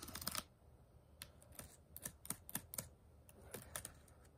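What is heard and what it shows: A single fingertip and nail tap the small plastic keys of a white HP laptop keyboard over its hollow deck. A quick flurry of taps opens the clip, then sharp, bright clicks follow at irregular intervals, each dying almost instantly.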